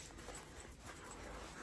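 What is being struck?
Nothing is struck.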